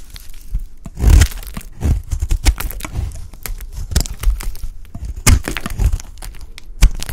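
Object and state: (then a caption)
Dry bar soap. A solid, dry white bar of soap held in the hand is cut and scraped with a utility blade, with chunks breaking off. A steady run of dry, crunchy cracks and short scraping crackles is heard. Louder snapping bursts come near the start, just past the middle and at the end.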